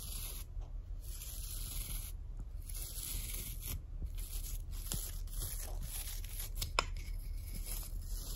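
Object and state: Shoe brush with natural bristles.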